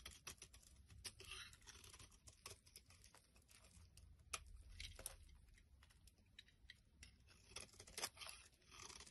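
A knife blade scrapes and carves chunks off the end of a solid pink bar of soap held in the hand, and the shavings crumble away. Quiet, bright, crisp scraping and crackling comes in many short, dry bursts over a low background rumble, with a few sharper cuts standing out.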